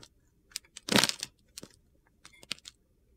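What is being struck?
Bar of soap cut with a knife blade.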